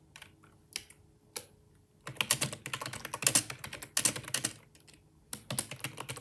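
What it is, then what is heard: Plastic computer keyboard being typed on. Bare fingertips type on a black plastic wireless Microsoft ergonomic keyboard, full-size with a hollow body, resting on a desk while the mouse sits untouched. A few scattered keystrokes give way to quick bursts of rapid typing, each press a short, bright, hollow plastic clack that dies away almost instantly, with brief pauses between runs.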